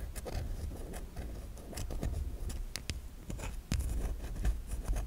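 A solid white bar of soap held in the hand, with long nails scratching across ridged grooves in its surface. Short, dry scraping strokes repeat in quick succession, with a low rumble underneath.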